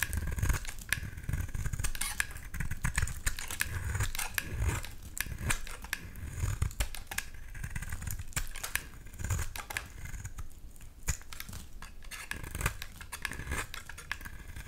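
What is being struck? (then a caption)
Bar of soap scraped with a knife blade. A utility knife blade scrapes curls off the edge of a solid white rectangular bar of soap held in hand. The sound is a steady run of quick, dry scraping strokes with soft low thumps and crisp bright ticks as each curl peels away, each one stopping almost at once.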